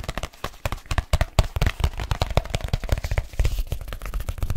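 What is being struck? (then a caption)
Leather case. A large black leather case is flexed and curved in the hands while fingertips tap fast on its outer surface. The taps come as a rapid, uneven stream of short, dull thumps, mostly low and boomy with a faint bright crackle and almost no ring.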